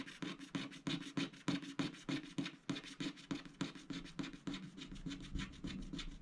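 A wooden stylus scratches the flamingo motif on a coated scratch-art paper sticker sheet resting on a mat. It makes a quick, fairly steady series of short, dry rasping strokes, each with a hoarse mid-low tone and a bright scraping hiss that stops almost at once.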